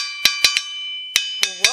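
A wrought iron anvil with a steel face is tapped six times at different spots across its surface to check that it rings like a bell everywhere. Each tap gives a bright, bell-like ring with sustained high overtones, and the last two taps add lower, bending tones. The ringing at every spot shows it is a sound anvil.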